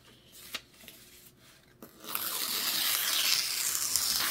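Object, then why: Thin paper sheets. Fingertips press and rub along a loose stack of thin white printed paper sheets lying flat on a white table, smoothing and creasing them beside some torn scraps. About two quiet seconds with four soft, separate crackles give way to a steady, bright, sustained rustling and scraping of paper that continues to the end.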